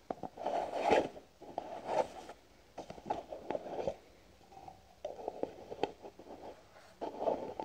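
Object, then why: Plastic cream jar tapped with fingernails. Fingernails tap a white plastic cream jar with a green lid, which is held sideways. The result is bursts of quick, dry, hollow clicking with a mid-range tone around 450 Hz and short pauses between the rapid runs of taps.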